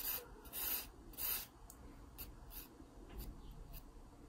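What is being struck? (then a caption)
Graphite pencil on a paper sketchbook page. A wooden graphite pencil tip scratches across the page of an open paper sketchbook lying flat, drawing guide lines. Three louder, bright scratchy strokes come first, followed by a series of softer, shorter strokes over a low, quiet background.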